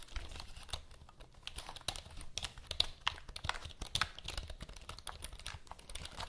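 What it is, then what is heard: Plastic computer keyboard. Long nails and fingertips tap and press the keys of a full-size black plastic computer keyboard with a hollow body, held in both hands. Quick, dry, bright clicks and clacks follow one another in an irregular typing rhythm, each dying away almost instantly over a soft low thump from the hollow body.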